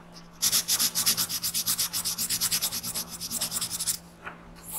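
A graphite pencil held in the fingers shades the alien's head on a printed paper coloring page lying flat on a wooden desk, while the other hand holds the sheet. About 28 quick, bright, scratchy rubbing strokes come in a steady rapid rhythm for roughly three and a half seconds, over a faint steady low hum. A soft rustle follows after they stop.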